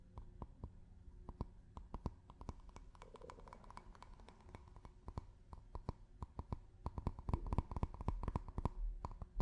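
A drinking glass is tapped with fingers and nails in a quick, irregular run of short, dry clicks and taps with very little ring. A low hum sits underneath, and the tapping grows louder and denser toward the end.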